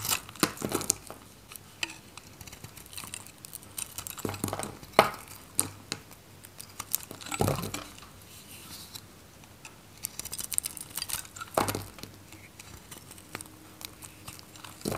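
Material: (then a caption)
Soap. A metal craft knife blade shaves and cuts a solid oval bar of dry, varnished green Godrej No.1 soap held in the hand, and flakes fall off. Crisp, dry scraping and crackling runs throughout, broken by sharper bright snaps as the blade bites through. The cuts are short, with no ring after them.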